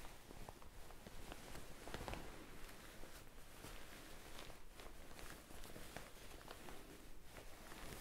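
Fingers with blue-painted nails scrunch and rub a white, ruffled, soft fabric shirt held close to the microphone. A quiet, continuous crinkling and rustling with soft, low-heavy texture and brief brighter scratchy flecks runs throughout.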